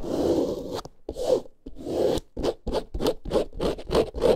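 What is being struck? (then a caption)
Faux leather handbag. Long nails scratch along the side and bottom edge of a small, boxy snake-print faux leather handbag lying on fur. A few longer rasping strokes give way to a run of quick, uneven scratches with a dry, papery texture centered in the low mids, each stopping dead with no ring.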